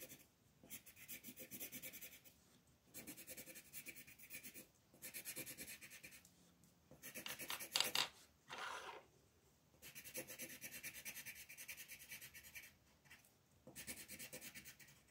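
A hand with long painted nails rubs a green wooden colored pencil across a flat sheet of white paper, a floral coloring page lying on a table, shading it. Bright, dry scratching comes in bursts of quick back-and-forth strokes separated by short pauses, with almost no low end.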